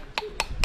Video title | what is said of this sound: 5 PAGI BELI JAGUNG UNCLE VIRAL !! NAIK JEEP PERGI MOSSY FOREST - KARBURETOR RR TAK JUMPA - PART 2 | dengar keras >> macam kosong >> solid dia bukan kosong bang solid